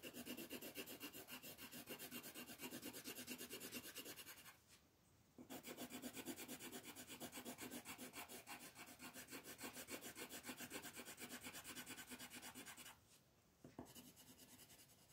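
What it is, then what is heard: Colored pencil shading on a paper page. A yellow colored pencil held in the fingers rubs and shades back and forth across a star shape on a thin printed paper coloring page lying flat on a table. It makes steady, rapid, dry scratching strokes with a bright rasp, broken by two brief pauses before the shading resumes.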